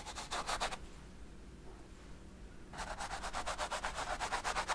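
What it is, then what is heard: Brush strokes on an oil-painted canvas. A fine brush rubs short, quick strokes on the right side of a large stretched canvas covered in oil paint, making soft, bright, papery swishes in a rapid rhythm. The strokes stop for about two seconds of near silence, then resume and continue steadily to the end.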